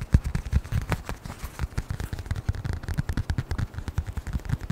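A small, closed brown leather-covered notebook or wallet is held in front of the microphone and tapped rapidly with the fingertips. The result is a fast, uneven run of soft, dull, low thumps with almost no ring or high-end click.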